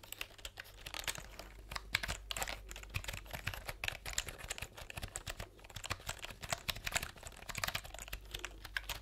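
Fingertips type rapidly on the round plastic keycaps of a plastic computer keyboard held horizontally in front of the microphones. Quick, bright, dry clicks and taps come in an uneven, continuous stream over a steady low hum.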